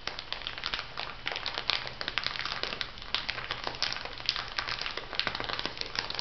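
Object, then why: Small plastic bag of granules. A small clear plastic bag filled with white granules is pressed and tapped by nails and fingertips. The result is a steady stream of quick, bright crinkles and sharp little taps with a soft granular rustle underneath, lasting about six seconds.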